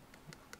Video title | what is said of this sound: Guide to making petrographic thin sections | make sure that it's solid shouldn't be rubbery if you mix the epoxy correctly